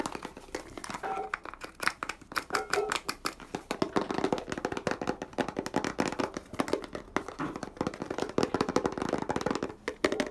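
Fingertips and nails tap and scratch quickly across the label and body of a small white plastic Bio Extratus 100 ml cream bottle with a green nozzle cap, which appears filled. The clip is a dense run of sharp, dry clicks and crackly scratches with almost no ring, over a hollow mid-range body tone.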